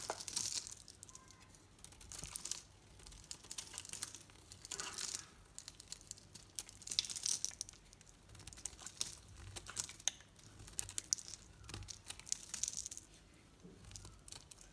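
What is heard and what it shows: A metal knife blade scrapes curls off a solid green soap bar with a pink painted coating, held in the palm. Quiet, crisp, crinkly scraping comes in repeated bright bursts of fine crackle, separated by short pauses.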